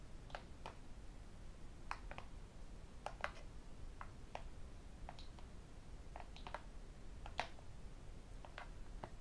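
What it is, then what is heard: Tablet glass screen. A tablet lies screen-up on a desk while its glass screen is tapped with fingertips and the metal rings worn on the fingers. The result is an uneven series of short, sharp clicks and ticks, some brighter where the rings strike the glass. Each tap dies away almost instantly over a steady low background hum.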